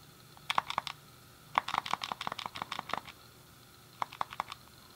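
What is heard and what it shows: A thumb clicks the D-pad and fingertips press the face buttons on a hand-sized, hollow grey plastic SNES game controller. About eighteen short, dry plastic clicks come in three bursts, a few quick presses, a longer rapid run, then a few more. Each click centres near 1.1 kHz with a bright edge and dies away almost instantly.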